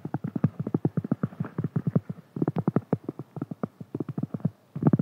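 Fingernails of both hands scratch and tap a large, round, flat, solid cork board, producing a rapid run of dozens of soft, dull, low-pitched taps with very short decay. The irregular clip-clop-like rhythm pauses briefly near the end, then resumes in a final flurry.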